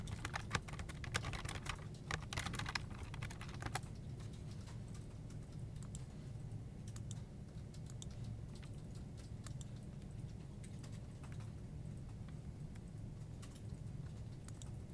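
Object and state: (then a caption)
Plastic computer keyboard. Fingertips type on a full-size black plastic desktop keyboard with hollow keycaps, producing quick, dense, bright clicking taps for the first few seconds. The typing then becomes softer and more scattered over a steady low hum that continues throughout the quiet clip.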